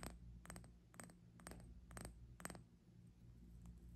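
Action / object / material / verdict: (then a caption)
tap / small glass hourglass with sand / glass / none. Fingertips and long nails tap and scratch a small, hollow, clear glass hourglass, held horizontally in both hands, with one bulb full of pink glitter sand. Short, bright clicks and brief scratches come in irregular clusters over a steady low hum.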